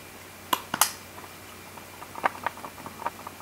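A Canon EOS R5 camera body is shaken with its battery removed, which fully disengages its 5-axis in-body image stabilizer. The loose stabilizer rattles inside in about half a dozen sharp, bright clicks, loudest early on, followed by softer scattered ticks. This rattle is presented as an abnormal noise.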